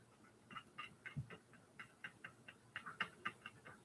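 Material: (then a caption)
Metal. One pair of sunglasses is shaken by hand during a side-by-side comparison, giving a quick run of about fourteen light, irregular clicking rattles. The rattle marks the pair as weakly built.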